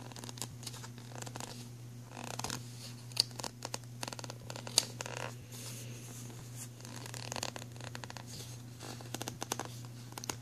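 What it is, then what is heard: Empty plastic pencil tray, scratched. A thumbnail and fingernails scratch across the embossed logo area and the grooves of an empty, black, ridged plastic pencil tray. The result is irregular bursts of dry, bright scratching and ticking with a few sharper clicks, over a steady low hum.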